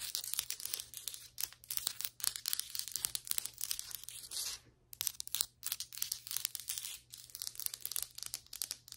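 Long white acrylic nail tips tap and scratch across solid ceramic floor tiles and their grout lines. Rapid, crisp, bright clicks mix with dry, papery scratching and crinkling strokes, each dying away instantly. A brief near-silent pause falls just before the five-second mark.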